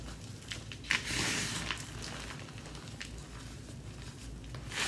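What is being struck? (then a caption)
Powdered gym chalk (magnesium carbonate) crushed by hand. Both bare hands scoop, squeeze and crush a large pile of loose pink-dyed gym chalk (magnesium carbonate) with soft crumbly lumps, resting directly on a grey surface with palms and fingers. The result is soft, dry crunching and crumbling with a bright, hissy texture and a louder burst of grinding near the one-second mark, then quieter rustling crackles.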